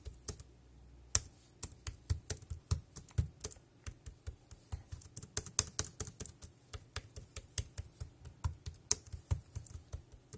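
One hand's fingertips type on the round keys of a dark grey plastic wireless keyboard, producing 23 short, separate key clicks over about ten seconds. Each press combines a low, dull thump with a bright plastic tick that dies away almost instantly, falling in an uneven, steady rhythm.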